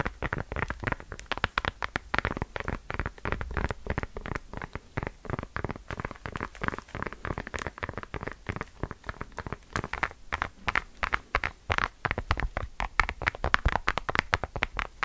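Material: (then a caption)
Silicone. Long dark nails tap and scratch the bumpy back of a pink phone in a silicone bubble case with raised round white bubbles, held in both hands. The result is a steady stream of rapid, short, dry clicks and soft scratchy crackles with a low thumpy body and no ring.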